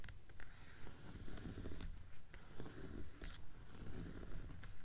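Long fingernails tap rapidly and scratch lightly across the cover of a blue hardcover book with a paper dust jacket lying flat on a table. The sound is a steady run of soft, low, hollow taps mixed with bright, papery scratching swipes.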